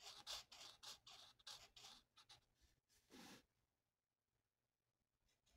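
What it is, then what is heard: Marker coloring on a paper sheet. The felt tip of a marker rubs in quick back-and-forth strokes across a thin, flat paper mandala coloring sheet resting on a table, filling it in. About eight bright, scratchy strokes come in a loose rhythm over the first three and a half seconds. Then it falls nearly silent, with only faint scratches near the end.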